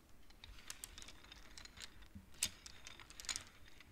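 Long nails push and tap the wooden beads of a wooden abacus. Quiet, sharp, bright clicks arrive at an irregular pace, each dying away almost instantly, with a few louder taps standing out.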